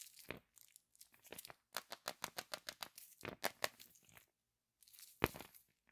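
Fingertips and nails rub and scratch the printed aluminium foil wrapper of a large, hollow, unopened Kinder Surprise Maxi chocolate egg held in both hands. The result is a rapid run of sharp, bright crinkling and crackling bursts with brief pauses, ending in a final loud crinkle.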